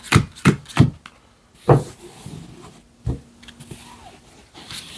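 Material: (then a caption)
Cardstock. A standard deck of thin paper or cardstock playing cards is held in both hands over a black felt close-up mat while fingertips square up and riffle-shuffle the cards, rubbing and flicking the card edges. Several soft, low thumps land in an uneven rhythm, each with a brief papery crackle, separated by quiet stretches of faint rubbing and a closing bright flutter of edges.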